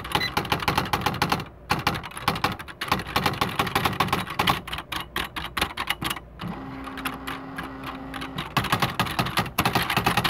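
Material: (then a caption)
Plastic. Fingertips with short painted nails type rapidly on the plastic keys of a beige plastic electric typewriter (CXL 4200), a large hollow machine with paper loaded. Dense, sharp, bright clacks run in quick bursts with brief pauses near 1.6 and 6.3 seconds. From about 6.5 to 8.4 seconds, a steady low tone near 250 Hz hums beneath softer keystrokes before full-speed typing resumes.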